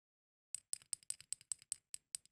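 A plastic toy snail from a fidget bag is tapped on its eyes in a quick, steady series of sharp, dry clicks with almost no low end and no ring. The taps give a pleasant sound that is distinct from the rest of the toy.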